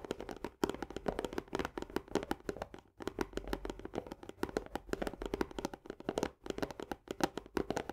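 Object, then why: Paperboard canister with plastic lid. Both hands tap fast with long nails on the upper wall and plastic lid edge of an Orzo Bimbo barley canister, a hollow, partly filled paperboard tube. The result is a dense stream of short, dry clicks over a hollow tone around 360 Hz, with brief pauses near 0.6, 2.9 and 6.4 seconds.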